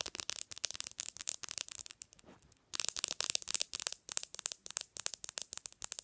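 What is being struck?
Smartphone with glass screen.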